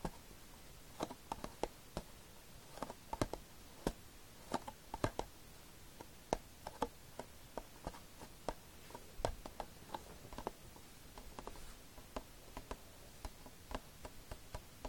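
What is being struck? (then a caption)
Plastic DVD case. Several fingertips tap quickly on the glossy cover of a plastic DVD case lying flat. A steady run of sharp, dry clicks with a hollow tone around 650 Hz, each dying away almost instantly over a quiet, low background.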